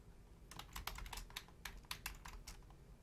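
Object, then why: Plastic computer keyboard. Long painted nails and fingertips type on a full-size black plastic Logitech keyboard with low-profile keys. A quick, uneven run of sharp, bright plastic clicks sounds over a steady low hum for about three seconds.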